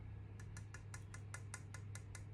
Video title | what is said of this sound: How to Authenticate Ancient Pre-Columbian Ceramic Art from Mesoamerica. | It's kind of like a low kind of a thud